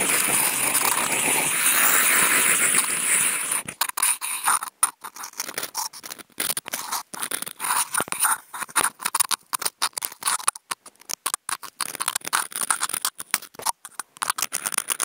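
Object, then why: Corrugated cardboard sheet scratched with a wooden toothpick. A wooden toothpick tip fitted to a contact mic is scratched along a large, flat corrugated cardboard box sheet near its fold line. It begins with a steady, loud, bright scraping for the first few seconds, then breaks into quick, irregular, choppy scratches with short silent gaps and a high hiss.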